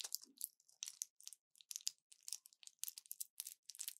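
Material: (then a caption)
Plastic, foil. An orange plastic blister pack with a foil backing and pills inside is held in both hands and bent, crushed and crinkled with fingers and long nails. Quiet, bright, crackly crinkles come in short, dry bursts with brief pauses between them, leaving no low end or ring.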